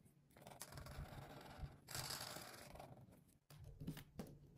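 A hand with long pink nails rubs the broad tip of a felt-tip alcohol marker across a thin white paper page of a coloring book lying flat on a table, coloring in an outline with short scratchy strokes. Dry, bright scraping rasps swell and fade over a steady low hum near 156 Hz. A brief pause comes just before the last few quicker strokes.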